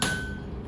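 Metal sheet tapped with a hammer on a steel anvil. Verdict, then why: Flat. A flattened metal sheet is tapped once on a steel anvil, giving a single dull, dead-sounding hit with a faint high ring near 1.5 kHz that fades within about a third of a second. The dull sound shows the sheet now lies flat against the anvil, which is the desired result.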